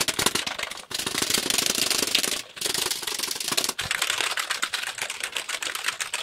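A hollow black plastic computer keyboard, held up in both hands, has its keys tapped rapidly by fingertips. It makes a dense, bright clatter of fast clicks with almost no low end, broken by brief pauses at about 0.9, 2.5 and 3.8 seconds.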